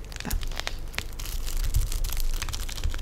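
Long blue nails tap and scratch across the plastic-film-wrapped, labeled top of a full cheese pack sitting on a black tray. The result is a steady run of bright, crinkly clicks and scraping rustles over a low, soft rumble.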